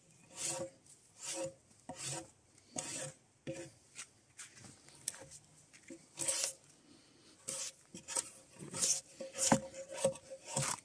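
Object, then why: Debarked spruce log scraped with a steel draw knife. Gloved hands pull a draw knife along a solid, debarked spruce log resting on a sawbuck, scraping the softwood surface. Repeated bright, rasping strokes come at an uneven pace, each a short scrape with a faint tonal ring that dies away quickly. The strokes grow denser and louder toward the end.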